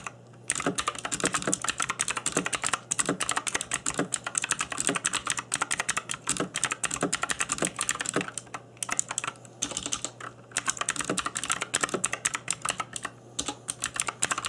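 Fingertips in black nitrile gloves type fast on a cheap RGB-backlit mechanical keyboard with plastic keycaps. It makes a dense run of sharp, bright, clacky key taps with brief pauses, over a faint steady low hum.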